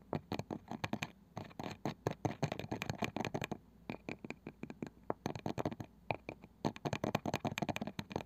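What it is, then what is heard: Small round wooden box. A palm-sized round wooden box with a pale wooden lid and a woven, ridged side is scratched and tapped around the lid edge with long nails, then tapped on top with fingers. The result is a dense run of short, dry clicks and scratchy taps with a low, woody body and brief bright edges, each dying away almost instantly.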